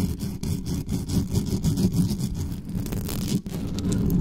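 Long nails and fingertips scratch fast and hard across the bare metal mesh grille of a black studio microphone. The result is a dense, continuous low rumbling scrape with a steady level and a brief dip just before the end.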